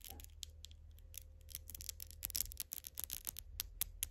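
Long gold glitter acrylic nails are pressed and tapped nail against nail and their hard surfaces rubbed together. The result is a quiet, steady run of crisp, bright clicks and scratchy rubbing over a low hum, with a faint steady tone underneath.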